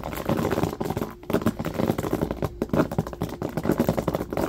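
Fingertips and short nails of both hands rapidly scratch and flick the upturned bristles of a small hairbrush with a striped bamboo base lying on carpet. The result is a dense, continuous stream of dry, crackling scratches and soft ticking flicks. It sits mostly in the low and mid range, with only brief quiet dips between bursts.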